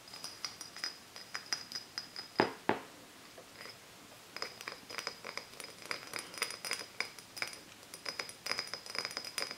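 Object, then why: Small glass soda bottle. An empty small glass Japanese cider soda bottle with a paper label is held in both hands and tapped with long nails. Rapid, bright, glassy clinks ring with a high tone, and two louder knocks come near the 2.5-second mark. The tapping pauses briefly before continuing steadily to the end.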